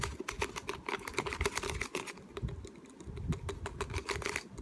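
A small, hollow, clear plastic water bottle with a white cap and paper label is held in both hands and tapped and scratched with fingertips and short nails. It gives a quick, steady stream of sharp, bright clicking taps over a hollow tone around 400 Hz, with a soft scratchy rustle underneath. Each tap dies away almost at once.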